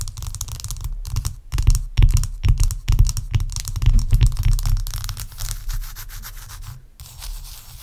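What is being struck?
Large ice block scratched and tapped with fingernails.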